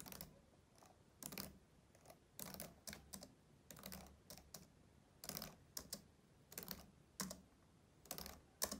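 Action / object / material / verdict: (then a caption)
tap / plastic laptop keyboard / plastic / none. Both hands type steadily with their fingertips across the keys of a black plastic laptop keyboard. The result is short, bright clicks and taps in uneven bursts, with quiet gaps between them.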